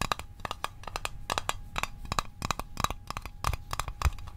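A small hollow metal Altoids mint tin is tapped rapidly with the fingertips, with a close-up toward the end. The result is a quick, irregular run of short, dry clicks with a faint metallic ping around 1.2 kHz that dies away almost instantly.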